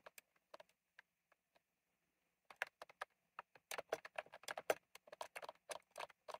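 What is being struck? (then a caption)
Plastic mechanical keyboard with round keycaps. A retro plastic mechanical keyboard with round plastic keycaps is typed on with the fingertips: a few scattered keystrokes, a short pause, then fast, dense typing. Each keystroke is a short, dry click with a midrange body and a bright top and no low thump, about 26 in all.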